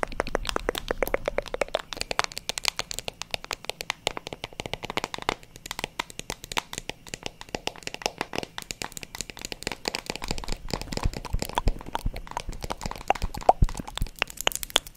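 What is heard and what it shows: A hand-sized, hollow-backed black plastic paddle hairbrush, held in front of a microphone, is tapped and scratched on its back with long acrylic nails. The result is a fast, continuous stream of sharp, dry clicks and short scratchy strokes that die away almost instantly.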